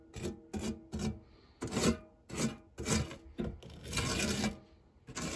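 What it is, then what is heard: Metal tart tin. A white silicone spatula with a blue handle rubs and scrapes across the dark textured nonstick base of a shallow, round fluted metal tart tin that is empty apart from cake crumbs. A series of short, raspy scraping strokes with bright, gritty texture is heard, ending in a longer sustained scrape.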